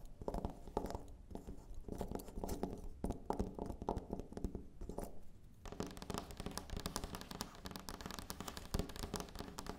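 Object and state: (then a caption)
Carved wooden figurine. Long nails tap and scratch over the carved, textured body of a small, solid, dark carved wooden elephant figurine resting on a wooden table. Quick, dry clicks and rough scraping strokes with a woody low-mid body come in bursts, then after about 5.5 seconds they turn into a denser, brighter, continuous scratching.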